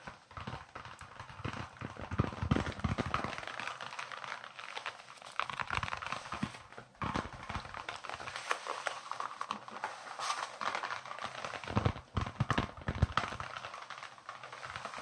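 A small, solid white leather baseball with red stitching is held in the hands and tapped and scratched with the fingertips. The result is a steady stream of quick, soft, muffled taps with low thumps and dry scratching that varies slightly in intensity throughout.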